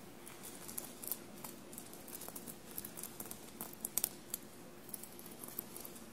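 Long blue-painted nails tap and scratch across the small silver metallic paillettes and studs on a dark navy knit fabric shirt lying soft and bunched on a table. Quiet, bright clicking ticks and light scratchy rustles scatter over a faint, steady low hum, with a few sharper taps standing out near the middle.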